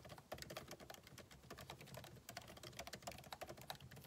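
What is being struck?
Laptop keyboard with plastic keys.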